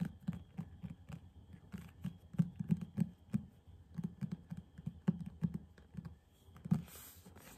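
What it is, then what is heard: Faux-leather hardcover book. A large, solid hardcover copy of *Cthulhu Mythos Tales* with a blue embossed faux-leather cover is held up and tapped on the cover with fingertips and nails in quick patter taps. The result is a fast, uneven run of soft, dull, low thuds with very short decay. Faint clicks from the nails sit above the thuds, and a brief brighter rustle comes near the end.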